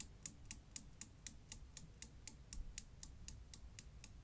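A Newton's cradle of five small solid chrome steel balls on strings, with the end ball lifted and released to knock the row. Sixteen sharp, bright metallic clicks come at a steady pace of about four per second, each dying away almost instantly over a low background rumble.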